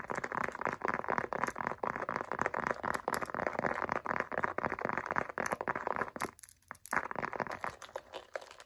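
Long acrylic nails rapidly tap and scratch the face of a light-blue pebbled faux leather wallet. The result is a dense, crunchy, crinkling clatter of short sharp clicks centered in the midrange around 1 kHz, with almost no low end. There is a brief lull just past six seconds before the scratching resumes.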